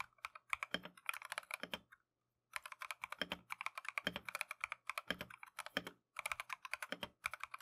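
Gloved fingertips type continuously on a compact Keychron V1 mechanical keyboard with Tangerine switches and green and white plastic Matcha keycaps. Fast, bright, dry keystroke clacks come in rapid bursts with little low end. The typing pauses briefly near the two-second mark and again near six seconds.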